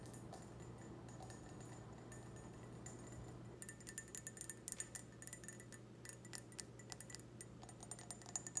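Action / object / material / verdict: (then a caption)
tap / glass wine glass / glass / none. A clear, empty, hollow stemmed wine glass is tapped with long red nails. After a quiet stretch with only a steady low hum, a rapid run of short, bright, high clinks begins, each dying away almost at once over the continuing hum.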